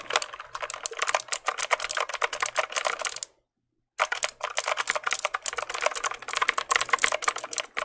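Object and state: Plastic mechanical keyboard.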